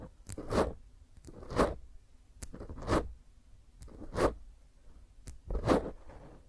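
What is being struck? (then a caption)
Foam microphone windscreen. Long painted fingernails and fingertips from both hands scratch and rub roughly over a small, rounded black foam microphone windscreen. The sound comes in five rising and falling swells of dense, crackly scraping and crunching, with sharp clicks between them and a low rumble under each pass.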